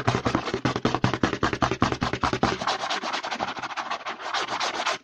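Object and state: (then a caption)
Plastic lotion pump bottle. Fingertips and nails rapidly scratch and rub the front label of a white plastic CeraVe lotion bottle with a green pump, held upright in one hand. The result is a fast stream of dry, raspy scratching strokes that reach up into the high range. A low body thump under the strokes fades out partway through.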